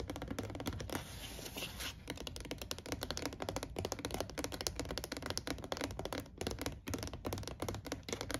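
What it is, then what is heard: Empty plastic storage crate. Fingertips and nails tap and scratch the rim and slotted walls of an empty, shoebox-sized beige hollow plastic storage crate. Rapid, dry clicks and taps come in a dense, uneven stream, with a steadier rasping scratch at about one to two seconds. Each hit dies away almost instantly, leaving a light, hollow plastic rattle.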